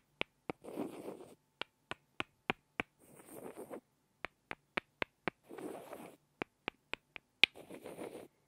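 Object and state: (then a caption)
Pair of wooden blocks. A pair of small, solid light-wood blocks is tapped together by hand, giving a series of sharp, dry, bright clicks with almost no ring. Four stretches of softer, grainy scraping, as the blocks are rubbed against each other, fall between the groups of taps.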